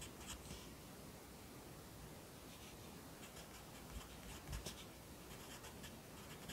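A yellow pencil writes at the bottom of the right page of an open lined paper notebook held in the left hand. It makes quiet, steady scratching strokes with bright, brushy bursts over a low, soft rumble, and a few dull low thumps around the middle.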